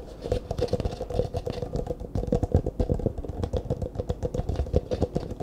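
An empty, hollow clear plastic cup held sideways is tapped and scratched with the fingertips. The result is a rapid, continuous run of soft, dull taps and scratchy rubbing with a hollow low-mid tone and little high-end brightness.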